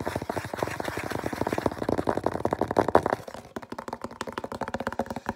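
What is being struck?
Small cardboard box.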